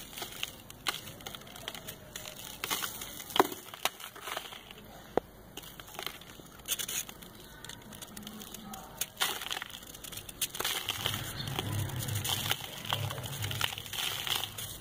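A metal kitchen knife scrapes and cuts a hand-sized solid ball of compacted dry brown sand held in the palm, so it crumbles onto lined paper. Dense, gritty crunching and bright crackles run throughout, with sharper snaps as chunks break away and a faint low hum joining in the last few seconds.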